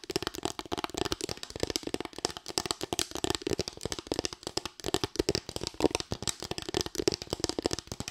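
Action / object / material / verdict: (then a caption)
tap / small bamboo board with raised slats / bamboo / none. A small, light bamboo board with raised slats is tapped and scratched with long white nails. The result is a rapid, continuous stream of short, dry clicks and scrapes with a woody midrange body and bright edges. The sound has no ring.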